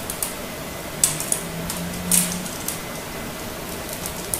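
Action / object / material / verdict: scrape / hard soap bar cut with a knife blade / soap / none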